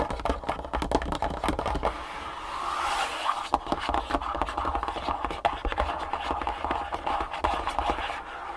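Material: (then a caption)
Cardboard. A long, printed cardboard shoe-insole box, closed and holding insoles, lies on a wooden table and is tapped and scratched with long nails and fingertips. Quick, dry, papery taps mix with scratchy rubbing, and a steadier scraping stretch runs near the middle of the clip. The sound is mostly midrange and has very little ring.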